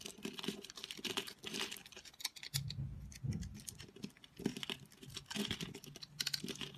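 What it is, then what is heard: Dry bar soap being cut. A utility knife blade cuts and scrapes cubes off a solid, dry, speckled multicolor bar of soap that has been scored in a grid. Crisp, bright crackling and crumbly snapping come in quick bursts, with a deeper, duller scraping stretch in the middle. Each cut stops short with almost no ring.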